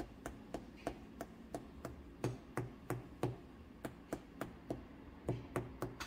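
Fingertips tap the base of a large, unfired, leather-hard stoneware clay platter, a broad shallow form with a hollow underside, set upside down on a pottery wheel to check wall thickness while trimming. About eighteen short, dull, low thuds fall in an uneven rhythm, roughly three per second. Each dies away almost at once over a faint steady low hum.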